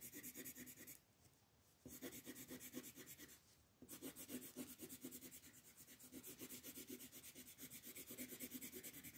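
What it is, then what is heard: Paper coloring page being shaded with pencil. A light wooden colored pencil shades a flat paper coloring-book page resting on a wooden table in quick back-and-forth strokes, while the other hand, with long purple nails, holds the page. The result is a dense, bright, scratchy rubbing with short pauses around the first and fourth seconds before the shading resumes steadily.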